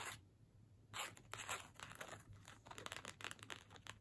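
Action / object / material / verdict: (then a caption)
scrape / cardstock paper gift tag / cardstock / none. Long nails scratch and tap the surface and edges of a small, flat cardstock holiday gift tag with a string, held up. After a quiet opening, dry, bright papery scratches and quick ticking taps come in irregular bursts over a faint, steady low hum.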